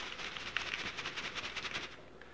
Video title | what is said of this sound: Carbon Filters 101 - How They Work & Why They’re HARD To Beat For Odor Control | the carbon is just a crushed charcoal like it is inside this guy. You can hear it if I shake it.